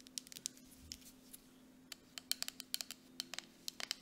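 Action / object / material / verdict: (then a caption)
tap / plastic cosmetic jar with metal lid / plastic / none. Nail tips tap the base and body of a grey plastic mud mask jar with a metal lid as it is turned on its side and upright. About 17 quick, bright, dry clicks come in an uneven rhythm, each dying away almost at once over a faint steady low hum.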